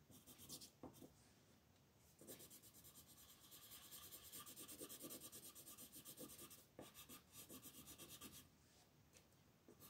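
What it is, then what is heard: Colored pencil shading on a paper sheet. A green wooden colored pencil is rubbed with fast shading strokes across a flat, thin paper mandala coloring page lying on a table. The pencil makes a dry, bright, scratchy rasp in rapid back-and-forth bursts, with quieter hushed stretches between the busier passages of shading.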